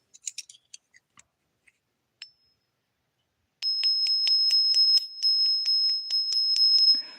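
A silver coin is tapped with a few light clicks, then pinged so it rings out with a sustained, high, bell-like tone that carries through a quick series of repeated taps before fading. The clear ring shows the coin is not a fake and passes the sound check as real silver.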